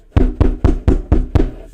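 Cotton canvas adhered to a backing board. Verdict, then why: Solid. A full hand strikes a taut cotton duck canvas adhered to a compressed backing board six times, each hit a deep, dull thud with almost no ring. The canvas has no sag and no give, solid like a canvas panel.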